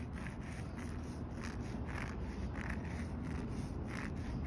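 Fingernails scratch and fingertips rub across the top of a solid concrete curb with a rough aggregate surface. A steady low rumble fills the background while short, gritty scraping strokes repeatedly surface over it at a fairly constant level.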